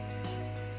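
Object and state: Nothing is struck.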